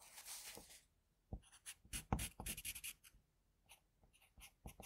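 A graphite pencil held in a metal extender scratches steadily across a flat sheet of drawing paper while drawing. A long bright, hissy stroke comes first, then after a short pause a run of quick, dry strokes, a quiet stretch, and a few more short strokes near the end.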